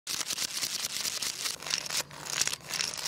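Fingertips grip the head of a long, solid, carved wooden crocodile wiggle toy made of many jointed wooden segments, lying on a tile floor, and wiggle it side to side so the segments clack together. The result is a dense run of quick, bright, dry clicks with almost no low end, dipping briefly around the two-second mark before picking up again.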